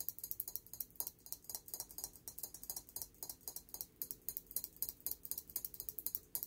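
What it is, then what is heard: Glazed ceramic figurine tapped with fingernails. Long nails tap the glossy surface of a small, shiny gold-glazed ceramic elephant figurine held in both hands. About 39 quick, sharp clicks come in an uneven, rapid patter. Each is bright and high with almost no ring, over a quiet, faint background.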